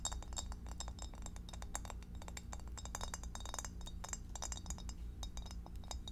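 Long acrylic nails tap rapidly on the sides and underside of an empty, hollow, clear rectangular divided glass food storage dish held up in the air. The taps are quick, bright clinks and ticks that fade almost at once, scattered irregularly over a steady low hum.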